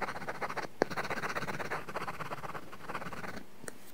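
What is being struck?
Plastic pencil tip on a matte film over a glass tablet screen.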